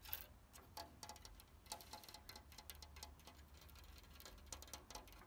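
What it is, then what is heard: Cast-iron garden chair. Fingertips and nails tap and scratch along the frame and pierced decorative panels of an ornate white-painted cast-iron garden chair with an openwork back and seat, standing outdoors among ferns. Quick, light, dry ticks and short scratches follow one another rapidly, each dying away almost at once, over a steady low hum.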